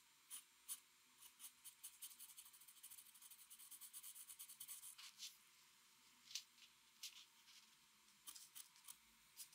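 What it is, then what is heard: Pencil drawing on paper. A metal mechanical pencil held in the fingers scratches and shades across a large sheet of white drawing paper lying flat on a desk, while a fingertip of the other hand rests on the paper. The result is quiet, bright, dry scratching and rubbing in short strokes and longer continuous passages, with almost nothing in the low end.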